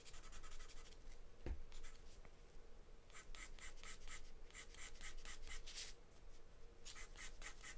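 A hand scribbles and scratches a light wooden pencil across a large, flat sheet of white drawing paper taped to a table and bearing a charcoal portrait, while a loose cover sheet lies untouched to the side. Quick, rhythmic bursts of bright, dry scratching come in clusters, broken by a short gap and a soft low knock near the start, then resume steadily to the end.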